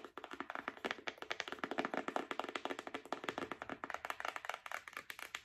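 Long nails tap and scratch quickly on a flat printed cardboard box holding paper letters. The result is a steady run of crisp, dry, papery clicks with a hollow midrange tone and almost no ring, each tap fading almost at once.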